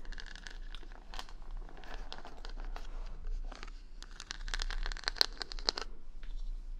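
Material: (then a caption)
Wood, plastic. Long nails scratch and tap across the colourful plastic rhinestone stickers covering the back of a hand-sized solid wooden paddle brush, held close to a binaural mic. The sound is a dense, bright, crinkly scratching broken by short, sharp clicky taps, with a few louder ticks toward the end over a faint steady low hum.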